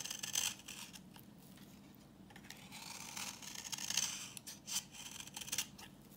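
A utility knife blade scrapes a solid, translucent, reddish-brown bar of dry vintage soap held in the hand, shaving off orange curls. Bright, crisp scraping strokes come in bursts, some louder and sharper, over a faint low hum.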